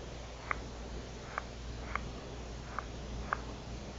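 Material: Plastic.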